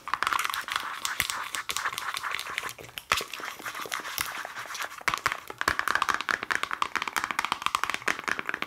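A hand-sized black plastic Lush cosmetic pot with a lid is tapped rapidly on its lid and sides with long nails. The result is a dense stream of sharp, bright clicks centered around 1.2 kHz, with almost no low end and very short decay.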